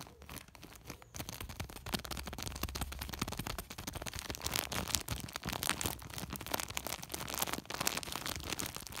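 Fingertips rapidly scratch and rub a large white woven polypropylene sack, sometimes gripping and crinkling it. The result is a dense, continuous stream of bright, crackly scraping and crinkling with quick short bursts and a faint low hum underneath.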